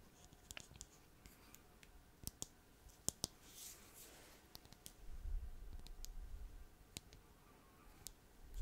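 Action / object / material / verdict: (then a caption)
tap / small plastic bottle with plastic cap / plastic / none. Fingernails tap and click on a small purple plastic bottle with a white plastic cap while it is held in the fingers. Fourteen short, sharp, bright clicks ring out at an uneven pace, with a soft low handling rumble in between.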